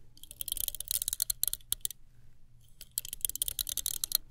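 Long nails run and flick over the plastic bristles of a small chrome-finish plastic hairbrush, producing rapid, bright ticking clicks. Two dense bursts of clicking are separated by a quiet pause in the middle, over a faint low hum.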